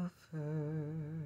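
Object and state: Nothing is struck.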